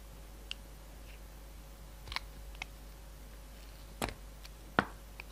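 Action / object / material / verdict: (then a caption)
scrape / bar of soap cut with a knife blade / soap / none. A yellow utility knife blade shaves along the edges of a solid striped bar of soap. Short, sharp scraping clicks sound at scattered moments over a quiet, steady background hiss. The last few cuts are the loudest and fullest.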